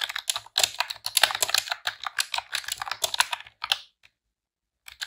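Rapid typing on a pink retro-style plastic computer keyboard with round keycaps, pressed with long press-on nails and fingertips. Dense, bright, dry clicks and clacks run for about four seconds, with the high end dominant and almost no low end. After a short silence, a few more key presses sound at the end.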